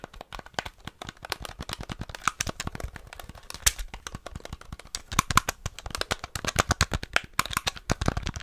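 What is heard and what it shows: Fingertips rapidly tap the d-pad and A/B buttons of a small, flat, hollow grey plastic NES gamepad held in both hands. Dozens of quick, dry plastic clicks and clacks come in a steady, uneven stream, each one short with no ring. They are sharp and bright, with a soft low thud beneath them.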